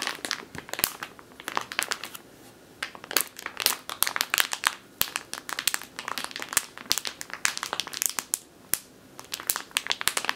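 A full plastic bag of flour resting on a wooden table is squeezed, tapped and scratched with long nails and fingertips. The result is dense, bright crinkling and crackling in quick, sharp bursts with quiet gaps between them and almost no low end.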